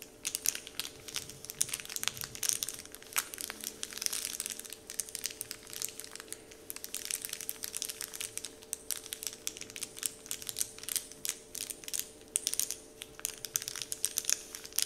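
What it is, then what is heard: Paper candy wrapper crinkling. Fingertips and nails tap and crinkle a large, flat, heart-shaped Dove-printed paper candy wrapper sheet lying on a table. The result is a continuous stream of bright, dry crinkles and sharp little ticks that stop instantly, with a faint steady hum underneath.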